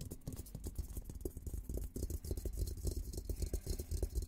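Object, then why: Steel military helmet. Fingertips scratch and tap across the top of a hollow, olive-green painted steel military helmet. A dense run of quick, dry taps and scratchy rasps sits over a deep, hollow low thump from the shell, with a faint bright hiss above. Each touch dies away almost at once.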